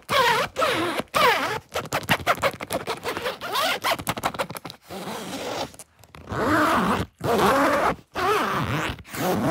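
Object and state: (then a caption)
Nylon fabric suitcase. Fingers pull the metal zipper and scratch the woven nylon surface of a large, hollow green Samsonite soft-shell suitcase with leather trim. Quick, irregular bursts of raspy zipper rasps and fabric scratching come in fast runs, then longer, sustained scrapes follow. The sound stays bright and dry, with little low end and almost no ring after each stroke.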